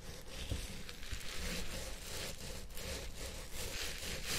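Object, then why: Synthetic fibre wig. A long purple synthetic-fibre wig, likely on a head-shaped mount or microphone, is scratched and massaged with the fingertips and nails of both hands. The result is a steady, dense, bright scratchy rustle with a low rumbling undertone and no clear separate strikes.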